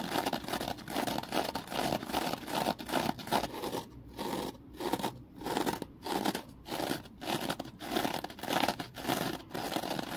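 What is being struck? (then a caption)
Foam kitchen sponge with scouring layer. A small, porous rectangular kitchen sponge of soft foam with a thin scouring layer on one side is held in one hand in front of a ring light and squeezed and scratched with the fingers. It makes dense, crinkly, crunching scratches in steady bursts. From about the midpoint, short silent gaps break up the bursts.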